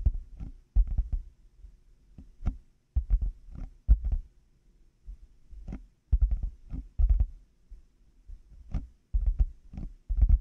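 Fingertips and nails tap and scratch black hollow plastic over-ear headphone earcups fitted on a 3Dio binaural microphone. Irregular bursts of dull, low, boomy thumps come through, with faint clicky, bright ticks on top. Each thump dies away almost at once, and quiet gaps separate the clusters.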